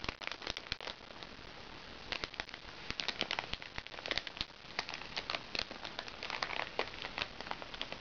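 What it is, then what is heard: Crinkly plastic makeup bag. Long nails scratch and tap a small, crinkly recycled plastic makeup bag. The result is a dense run of bright, dry crinkles and sharp plastic ticks over a soft steady hiss, with almost no low end.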